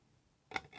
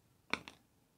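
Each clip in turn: First: genuine polycarbonate ID card, crisp and hard. Second: fake plastic ID card, dull drop sound.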